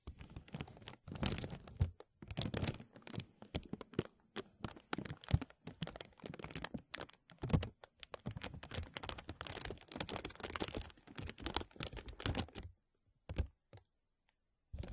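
Fingertips tap and rub a thin, clear, embossed plastic vacuum-seal bag stretched over a mesh microphone dome. Dense bursts of crinkling and crunching come in quick, irregular clusters, full and low-heavy with bright edges. Near the end the sound thins out into a few sparse taps and silence.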